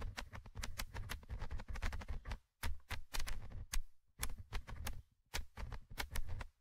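A thin orange stick scratches the small metal mesh microphone grille of a Tascam handheld recorder. Dense bursts of scratchy, crackling strokes come through close and heavy in the low end, with sharp bright ticks. The bursts are broken by a few brief silent pauses.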